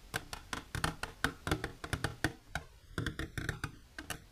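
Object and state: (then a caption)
Empty hollow plastic container. An empty, hollow, transparent rectangular plastic container with an inner divider, held upright on a blue cloth, is tapped with long, silver-polished natural nails. A quick, irregular run of sharp, dry clicks with a hollow plastic knock rings only briefly, with a brief lull partway through before the tapping resumes.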